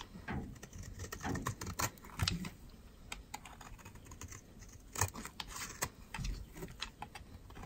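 A utility knife blade scrapes and shaves a palm-sized bar of solid white dry soap held in the hand, letting powdery flakes fall. A rapid, irregular run of short, crisp scratches and clicks with bright edges and a soft low rustle underneath, each stroke dry and stopping at once with no ring.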